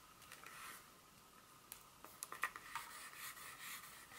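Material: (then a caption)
Chocolate. A solid, flat dark chocolate bar is held in the palm with its smooth back side up while long, pointed acrylic nails scratch and tap across it. Soft, bright scratching runs throughout, punctuated by a quick series of sharp, clicky taps that die away almost instantly. The overall sound is quiet and thin, with almost no low end.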